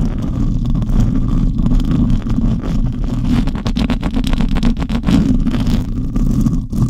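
Long nails scratch and fingertips of both hands rub the bare silver metal mesh grille of a condenser microphone, its hollow mesh dome. The result is a dense, continuous rumbling scrape with a heavy low boom and quick gritty strokes. Faint bright crackles sit on top throughout.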